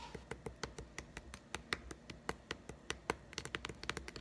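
A closed, small green plastic egg-shaped putty container is held in one hand and tapped rapidly with the fingertips and nails of the other hand. About 24 short, dry, bright clicks land in an uneven, quick rhythm, each dying almost instantly over a faint low background hum.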